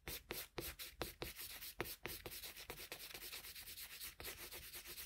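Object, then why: Colored pencil shading a sheet of drawing paper. A colored pencil held in a metal extender shades a flat sheet of drawing paper with quick back-and-forth rubbing strokes. The bright, scratchy graphite-on-paper rasp comes in distinct swipes at first, then settles into a steadier, faster scribbling texture.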